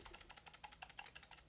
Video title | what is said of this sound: THE BEST WIRELESS GAMING MICE! | whenever i shake it you can hear a little bit of rattle in there